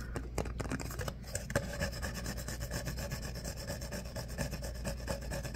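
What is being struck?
Ribbed paper cup.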